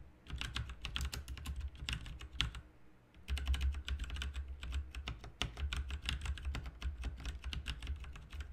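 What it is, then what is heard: Plastic mechanical keyboard being typed on. Fingertips of both hands type rapidly on a full-size RGB backlit mechanical computer keyboard with plastic keycaps resting on a desk mat. The result is a dense stream of crisp key clicks over a deep, thumpy low end, with a brief pause a little past three seconds before the typing resumes just as quickly.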